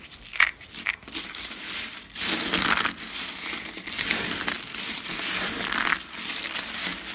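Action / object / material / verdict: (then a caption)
scrape / soap flakes / soap / none. A pile of small, thin, tan dry soap flakes is pressed and crushed with fingertips and palms on a cutting mat. It makes dense, bright crunching and crinkling with sharp crackles and almost no low end. The crunching comes in continuous bursts that swell and fade.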